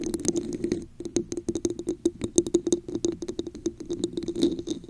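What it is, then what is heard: Textured plastic cup, empty. A red translucent plastic cup with a raised scale pattern, hollow and empty, sits upside down over the mic while long acrylic nails tap and scratch its textured sides. The result is a quick, irregular patter of sharp clicks with a hollow ring around 344 Hz and bright, crisp edges, mixed with softer scratchy rustling.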